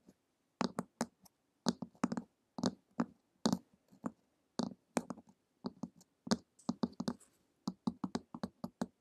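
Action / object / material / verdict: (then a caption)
tap / hardcover book with glossy cover / cardboard, paper / none. Long acrylic nails tap and lightly scratch the glossy printed cover of a flat, solid hardcover book lying on a table. The result is a quick, irregular run of short, dry clicks with a low thud underneath and a bright tick on top, each dying away almost at once.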